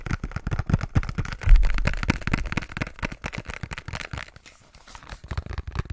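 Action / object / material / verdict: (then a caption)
tap / small cardboard box / cardboard / none. Fingertips and nails rapidly tap and scratch the faces of a small, hollow pink cardboard box with a gold side panel. The result is a dense run of soft, low, hollow thuds with a faint scratchy texture on top. A louder thump swells early on, the tapping thins and quiets briefly, then picks back up.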